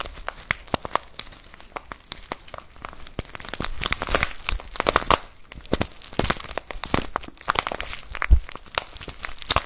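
A full plastic bag of rice is held in both hands and squeezed and scratched with fingertips and nails. The result is dense, crinkly plastic rustling with quick bright crackles and soft crunches of shifting grains, rising and falling in waves throughout.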